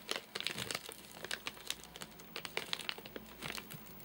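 Fingertips and nails tap and scratch the top of a full, flat rectangular Soft Nougat bar in a crinkly plastic wrapper. Many quick, dry crinkles and taps come in uneven bursts, each dying away almost at once. The sound is bright and papery, with little low end.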